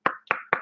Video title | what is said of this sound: Opening and building of 76182 Batman Cowl - via DOTU Bricks! | it's hollow actually to a large degree